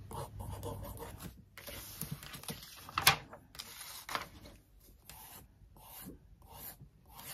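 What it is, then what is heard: Glossy paper magazine. A wooden stick traces and scratches over the text and photo spread of an open glossy paper magazine lying on a desk, making soft, bright rubbing and rasping strokes separated by short pauses, with one sharper scrape standing out. A page of the magazine is then flipped.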